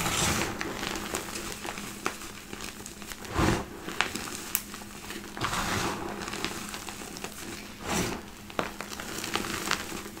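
Hands press into a pile of crushed white gym chalk in a black bowl, then gather and squeeze large clumps between fingers and palms. Soft, dry crunching and crinkling comes in repeated swells, with sharp little crackles and bright grit over a low, steady hum.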